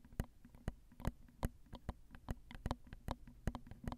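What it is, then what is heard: Nails tapping a metal microphone grille. Long, pointed acrylic nails tap on the two crossed metal mesh capsules of a small Zoom handheld recorder's X/Y mic head, which sits on a hollow plastic and metal body. The result is an uneven, quiet run of short, dry taps, each with a brief bright click over a low, thumpy body and no ring-out.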